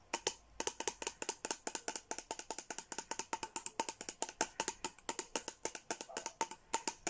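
A tall plastic water bottle with a Sanrio-character print and a blue lid is held up and tapped and scratched with long nails and fingertips. About 49 quick, sharp clicks come in a steady, uneven stream, each dying away almost instantly, with a light ringing tone near 890 Hz and a bright, crisp top.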